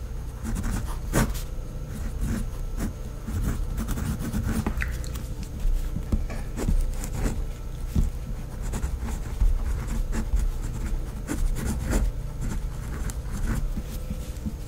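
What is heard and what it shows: A pink fineliner pen writes cursive names on a flat sheet of white lined notebook paper on a pad. The pen tip makes soft, scratchy strokes in quick bursts over a low background rumble.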